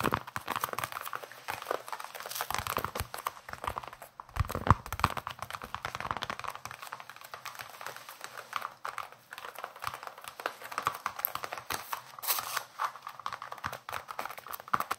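Fingertips and nails tap and scratch the leather surface of a solid, hand-sized baseball with red stitching, cupped in both hands near the face. Dense, soft, dry taps and scratchy rubs sound close up, with no ring and brief crinkly textures, continuing throughout.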